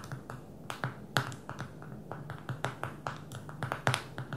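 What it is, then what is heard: Smartphone glass screen tapped with fingernails. Long fingernails on both hands tap the glass touchscreen of a small black smartphone lying flat on a table. Around twenty quick, light clicks come in an uneven rhythm, each sharp and dry with a soft low thud beneath and almost no ring.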